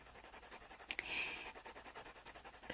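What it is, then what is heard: Colored pencil scratching on a paper page. A blue wooden colored pencil held in the fingers rubs and scratches across the paper page of an open paperback coloring book lying flat while coloring a bird's wing. Quick, rhythmic, bright scratchy strokes repeat steadily, with a couple of sharper ticks near one second, followed by a longer, smoother stroke. A louder, brighter scrape closes the clip.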